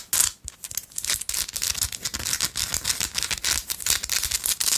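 Long light-blue acrylic nails scratch and tap a small, solid pink rock-salt chunk held up close. The result is a dense run of bright, dry rasping scrapes and sharp little clicks, almost all high-pitched with very little low end. The strokes come in quick overlapping bursts with short, dead decays.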